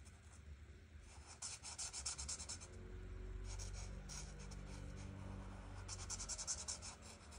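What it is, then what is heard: Marker coloring on a paper page. An art marker tip is rubbed across a flat paper coloring book page in coloring strokes. Quick bursts of bright, scratchy rubbing come in uneven runs, with a faint, steady low hum underneath through the middle of the clip.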